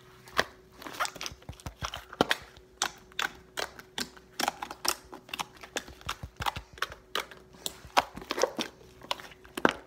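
A large soft mound of white fluffy slime on a table is poked, pressed and patted by fingertips, squishing it. The result is a rapid run of short, wet, clicking squelches and pops, some louder and brighter than others, over a faint steady low hum.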